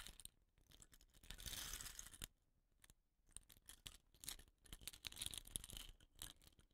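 Fingertips scratch and rub the surface and rattan-capped ends of a hollow, dot-painted bamboo rain stick while rolling it. The result is quiet, bright, crackly scratching with a brief swelling hiss early on. After a short near-silent pause, it turns into a denser run of light, uneven scratches and taps.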